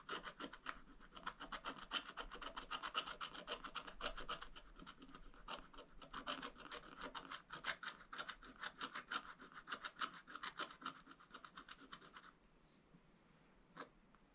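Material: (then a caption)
Waxed paper. A wooden stylus, held low, scratches repeated strokes across a wax-coated scratch art page with a black coating over rainbow. Quick, raspy, bright scratching strokes rub on steadily for about twelve seconds, then stop, leaving near-silence and one last faint scratch.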